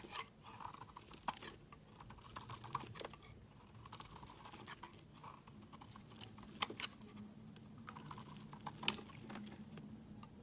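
A hand-sized, solid, translucent orange soap bar is shaved with a utility knife blade, producing curling flakes. Quiet, dry, bright scraping strokes run throughout, broken by occasional sharp, crisp clicks as the blade cuts in.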